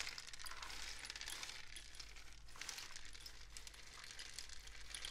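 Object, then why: Painted cardboard rain stick with loose filling. A long, hollow painted cardboard rain stick with an orange mesh-wrapped end is held in the fingertips and tilted so its filling rattles down inside. It makes a continuous, quiet shower of bright, dense pattering and clinking over a steady low hum, swelling and easing slightly as the filling runs through the tube.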